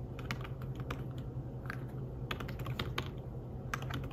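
Fingertips tap the keys of a slim fabric-covered tablet keyboard while typing, making a quick run of soft, muted clicks with bright tick edges that die away almost at once. A steady low hum runs underneath the whole time.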